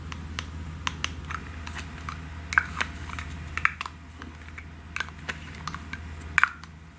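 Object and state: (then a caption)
Aerosol can with plastic cap. Long nails tap quickly on a pink aerosol can and its white plastic cap, making a scattered run of short, dry, clicky taps with almost no ring. A steady low hum sits underneath, and the tapping grows a little quieter toward the end.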